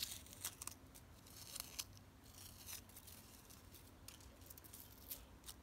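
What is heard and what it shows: Long nails scratch and tap the ribbed front wall of a plastic flower planter box filled with soil and flowers. Quiet, bright scratching runs throughout, punctuated by sharp, high clicks that stop almost instantly. A faint low hum sits underneath.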